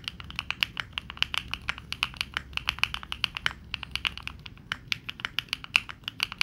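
Both hands' fingertips type continuously and rapidly on a Neo65 65% mechanical keyboard with dark plastic keycaps. Dozens of quick, bright clacks centered around 2.5 kHz come through, each dying almost instantly with very little low end. The result is a steady, even patter of crisp key taps.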